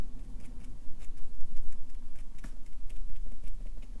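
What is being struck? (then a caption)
Felt-tip marker on paper sheets on a clipboard. A Sharpie marker's felt tip taps rapidly on a stack of white paper resting on a clipboard, stippling dot shading. The result is a quick, uneven patter of short, dry ticks with brief bright clicks, heard over a steady low hum.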